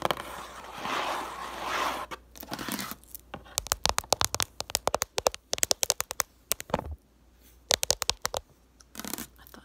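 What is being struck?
Cardboard tissue box.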